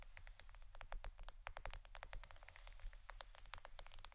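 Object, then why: Roll of plastic adhesive tape. A roll of plastic Scotch adhesive tape is tapped and scratched with rapid, dense fingertip-like clicks. Each short, dry tick rings bright and high over a steady low rumble, and the taps run together in a quiet, continuous patter.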